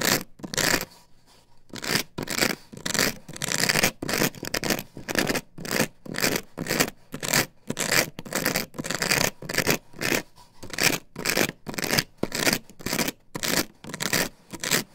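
Long nails scratch and scrape across an upright plastic stencil template glued to a wooden board. The result is a quick, irregular series of bright, hissy scraping strokes, each swelling and fading, with short quiet gaps between them and little low end.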